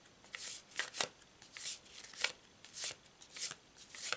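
A hand-sized deck of glossy printed cardstock tarot cards with dark starry backs and a triple-moon symbol is overhand-shuffled by both hands above a cloth-covered table, the deck split into two stacks. The cards slide and flick against each other in quiet, irregular bursts of bright, airy rasping swishes and crisp little flicks that die away almost instantly, with no low end.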